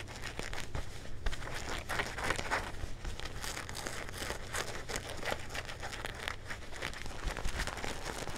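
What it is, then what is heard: Denim jeans being scratched. Fingertips and nails scratch the fabric and back pocket of a pair of dark blue denim jeans held up in the air. A dense, continuous texture of scratchy, crinkling rasps rides over a steady low hum, with brighter scraping bursts throughout.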